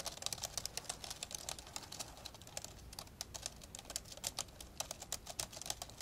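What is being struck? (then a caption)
Plastic laptop keyboard. Both hands type rapidly with their fingertips on the keys of an old 1990s dark grey plastic laptop lying open, its keyboard deck hollow. A steady stream of quick, bright plastic clicks and taps is heard, each dying away almost at once, over a faint low hum.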